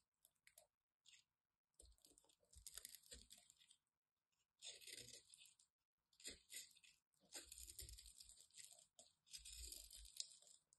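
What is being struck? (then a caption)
Solid bar of soap cut with a knife. A solid white embossed bar of soap has its edge cut and scraped with a craft knife, shaving off crunchy chips. Bursts of bright, dry crunching and scraping come in uneven runs, with short pauses between passes.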